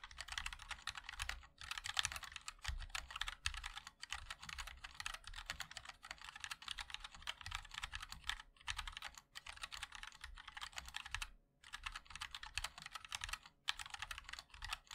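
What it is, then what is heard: Mechanical keyboard being typed on. A 60% mechanical keyboard with a black aluminium case, white and black ABS keycaps and linear switches is typed on continuously with the fingertips of both hands. Rapid, bright, clicky taps run in dense bursts separated by brief pauses, with a low thump beneath each keystroke.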